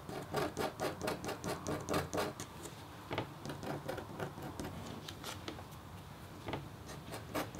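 A metal stylus tip is drawn across a flat, thin, solid copper-foil scratch art board, about A4, with a black coating. It makes rasping scratch strokes, a quick rhythmic run at first and then slower, more scattered strokes. Each stroke has a bright, gritty edge over a low body.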